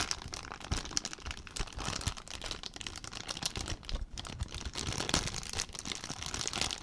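An empty clear plastic zip-lock bag is crumpled and crinkled by hand. A steady stream of dense, bright crackling and rustling goes on without a break, with sharp crisp snaps scattered throughout.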